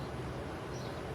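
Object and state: Nothing is struck.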